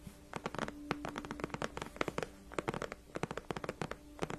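Long nails of both hands scratch the backrest of a large padded white faux leather gaming chair. The result is a rapid, irregular run of short, dry scratching strokes, each starting crisp and bright, over a faint low hum with a steady tone.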